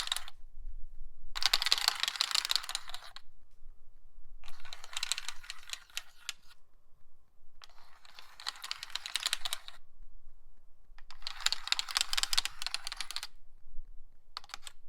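A seedling tray (nursery tray) is tapped and scratched with a nail worn on a finger. Bursts of quick, sharp, bright clicking and scratching alternate with short quiet gaps. The taps are dry, with almost no ring.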